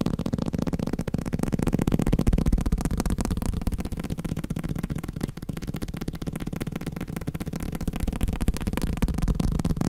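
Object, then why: Block of paper. A block of paper is tapped rapidly with fingers, making a steady stream of soft, dull thuds with heavy low-end body and almost no brightness. Each tap dies away almost instantly, and the taps run on continuously at about four per second with a loose, uneven rhythm.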